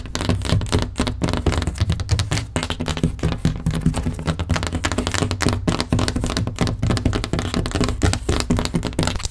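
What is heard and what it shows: Long painted nails on both hands rapidly tap and scratch a large, flat, wall-mounted headboard panel, a solid board with a grey wood-grain laminate finish. The result is a dense, continuous stream of short, dull, low thuds with almost no ring, layered with faint dry scratching.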